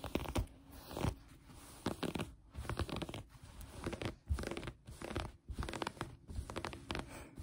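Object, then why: Knit fabric. Long painted nails scratch and pinch green knit fabric folded flat on a table. The result is quiet, close, crunchy scratching and rustling in repeated uneven bursts, with short pauses between them. The sound is weighted toward the low end, with little bright content.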